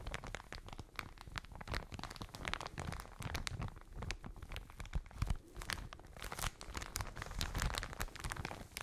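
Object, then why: Plastic bag filled with cotton wool. A full plastic bag of cotton wool is crinkled and squeezed with fingertips and long nails. It gives a steady stream of dense, crackly plastic crinkling with bright, sharp snaps over soft, low muffled thumps from the squeezing.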